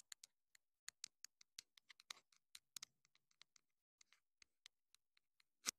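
Long acrylic nails tap and scratch the casing and foam-less tip of a small, hollow black plastic clip-on wireless mini microphone transmitter held in the hand. The result is a quiet, uneven series of dry, bright clicks with very short decay and almost no low end, with a few brief scratchy rubs between them. A louder, sharper tap comes at the very end.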